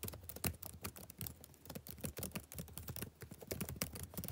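Fingertips type rapidly on a black plastic backlit laptop keyboard. A quick, uneven stream of soft key clicks follows, each with a dull low thump and a short bright tick that dies away at once.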